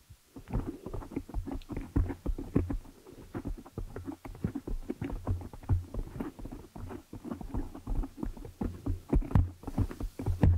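Long nails scratch, rub and tap over a large, soft, porous black foam windscreen on a microphone. The result is a steady run of muffled, bassy thumps and scratchy rubbing with a deep low rumble and almost no high end.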